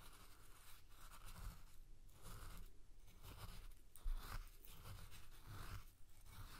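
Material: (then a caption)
Salt. A spoon scrapes and scoops through coarse salt in a clear glass bowl, dragging along the glass. Repeated gritty, crunchy strokes come in a steady rhythm, separated by short pauses, over a soft low rumble.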